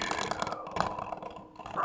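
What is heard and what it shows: A plastic Blu-ray case for The Boondock Saints II: All Saints Day is shaken with its disc loose inside, producing a quick series of light, clicky rattles. The disc rattles nicely and freely within the case.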